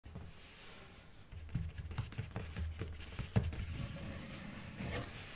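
A large, hollow, closed white printed cardboard subscription box is held at the edges and tapped with long dark-painted nails. The result is a quiet, uneven patter of short, dull, hollow knocks and light clicks, mostly low and thumpy with brief sharp ticks and almost no ring.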